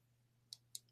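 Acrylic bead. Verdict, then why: Fake. A bead from a jewelry lot that looks like lapis is tapped three times, giving short, dull, matte clicks with almost no ring over a low steady hum. The sound marks it as acrylic rather than glass or natural stone.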